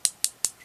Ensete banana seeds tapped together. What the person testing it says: just by tapping them together, they are quite hard